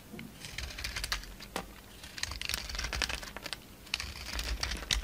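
A solid rectangular red-coated bar of Marseille soap with a white interior is held in the hand while a utility knife blade shaves and scrapes flakes off its edge. The result is a quick, irregular run of crisp, bright crackling scrapes and ticks over a faint low rumble.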